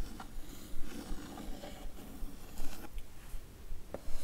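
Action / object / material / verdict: scrape / printed cardboard box / cardboard / none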